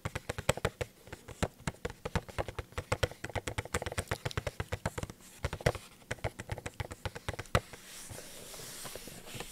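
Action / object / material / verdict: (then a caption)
tap / small cardboard toy box with plastic window / cardboard / none. Long painted nails tap quickly on a small, hollow cardboard Funko Pop box with a plastic window and the figure inside, held tilted in the hand close to the microphone. The result is a dense run of short, crisp, hollow clicks with a soft low thump beneath each one. The tapping stops for the last second and a half, leaving a faint, steady hiss.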